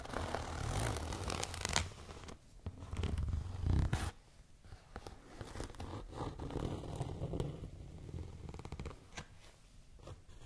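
Long nails scratch and tap on a tall, transparent holographic plastic zipper pouch with printed lettering and items inside. The result is a steady stream of crinkly scratches and quick plastic taps over a low, muffled rumble, louder in the first four seconds and then softer and more scattered.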